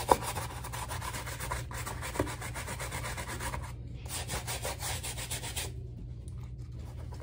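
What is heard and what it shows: A soapy wooden-handled bristle brush scrubs the footbed and strap of a black rubber slide sandal resting on a towelled lap. Quick rhythmic brushing strokes make a bright, hissy scratching over a steady low hum, with a sharp click at the start and a brief pause near the middle. The scrubbing thins out toward the end.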